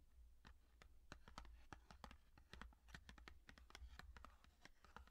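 A small yellow cardboard cook's matchbox, hollow with matches inside, is held in the hands, tapped quickly and scratched with long painted fingernails, and turned on its side by the end. The result is a rapid run of sharp, dry, typing-like clicks with brief scratchy textures. A steady low hum sits underneath.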